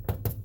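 Taps on the metal inner panel/mechanism of a Winnebago RV motor home's driver side door (Workhorse chassis), after butyl tape has been wedged in on both sides. Short, dull, low thuds land with quick decay and no rattling buzz after them. The door part no longer rattles.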